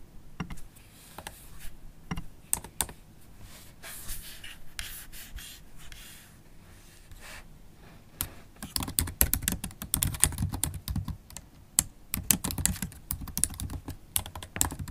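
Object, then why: Laptop keyboard with plastic keys. Long stiletto acrylic nails type on the black plastic keys of a MacBook Pro set in an aluminium body, with one hand partly resting on the palm rest. Sparse, sharp clicky taps and soft scratchy brushing come first, then the typing speeds into dense, rapid bursts of bright clacks with a low thud beneath them.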